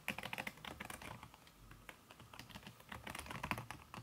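Fast typing on a backlit aluminium laptop keyboard fitted with a red silicone key cover, tapped with fingertips and long red nails. It produces a rapid, soft stream of short, dry, bright clicks that eases into quieter, lighter taps in the middle before picking back up.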